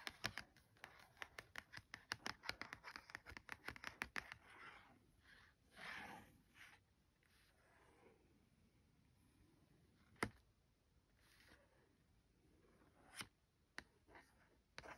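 Fingertips and long nails trace letters and scratch along the printed cardboard header of a flat Lap Map tea towel package with cotton inside. A quick, dense run of bright, dry scratches and taps fills the first four seconds. Slower, softer strokes follow, with a few sharp isolated clicks near the end.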